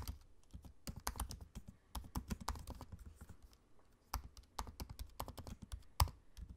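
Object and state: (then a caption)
Laptop keyboard typing. Fingertips of both hands type on the low-profile black plastic keys of a space-grey aluminium laptop. The result is quick, soft, dull clicks with a low thud and almost no ring, coming in uneven bursts with a quieter pause around three to four seconds. A sharper, louder tap lands near the six-second mark.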